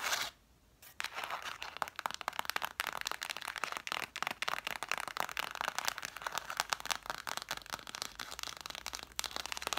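Long nails rapidly tap and scratch the cloth spines of a solid stack of red cloth-covered vintage hardcover books, set spines forward. After a brief near-silent moment at the start, a dense stream of dry, bright clicks and scratchy rasps continues steadily with almost no ring and very little low end.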